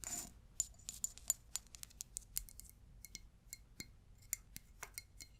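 A glass object is tapped in a quick, irregular series of light taps. Each tap gives a short, bright clink that dies away almost at once. The taps follow a brief, soft rustle at the start, and the whole clip is quiet.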